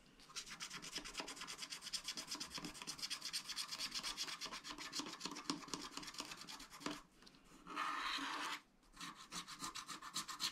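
A wooden stylus scratches and rubs away the remaining black coating at the top of a sheet on a flat, spiral-bound, wax-coated scratch-art paper pad while fingertips steady the pad. Rapid, bright, raspy strokes repeat steadily, break off briefly, then give way to a smoother continuous rub. After a short silence, the quick scratching resumes.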